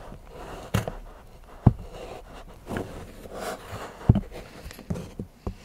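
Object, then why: Milk chocolate bar scraped with a steel knife. A large steel knife shaves and scrapes the edge of a solid milk chocolate bar into curls while fingertips hold the bar on a patterned board. Quiet, dry scraping is broken by several short, sharp taps with low thuds that die away almost instantly.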